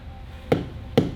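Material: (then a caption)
Rubber. Two dull thumps of a tire checker bat striking an underinflated rubber truck tire, each a short, low, muffled knock with little ring. The low tire gives a deadened sound that signals the pressure should be checked with an air gauge.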